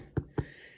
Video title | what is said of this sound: Homemade bread-step by step-four ingredients! | tap on it. And it should, you hear that hollow sound? It needs to sound hollow.